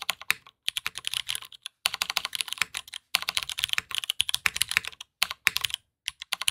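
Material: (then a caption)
Plastic, aluminum. Fast two-handed fingertip typing on a black aluminum Matrix 2.0add mechanical keyboard with Hyperglide MX Brown switches and plastic keycaps, resting on a desk mat. Rapid, bright, clacky keystrokes come in bursts separated by brief pauses, each short and dry with almost no low end.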